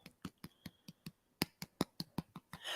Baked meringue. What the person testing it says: when you tap the bottom it sounds Hollow um it's quite a dry tap on it